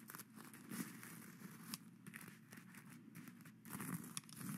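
The plastic claws of skeleton-hand grabbers scratch across a flat reversible sequin fabric pad (plastic sequins sewn on cloth) resting on a satin-covered round board, flipping the sequins. The result is a continuous dry, crinkly scratching with quick clicky bursts and sharp ticks as the sequins turn over, over a steady low hum.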